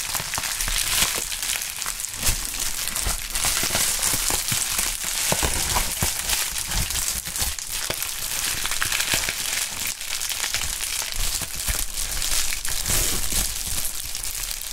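A pink polyethylene bubble wrap sheet with a label and air-filled bubbles is crinkled, stretched and rubbed by fingerless-gloved hands. It makes a steady, dense crinkling and crackling, bright and hissy, with sharp snaps scattered throughout and a low rumble of handling underneath.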